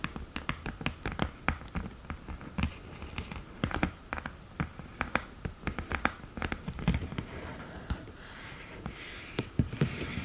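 Long green nails tap on the lid edge and mirror of an open cardboard eyeshadow palette with a mirror lid. The taps come in a quick, irregular stream of dozens of short, dry clicks with a soft low thud beneath and almost no ring. A faint brushing hiss rises briefly near the end.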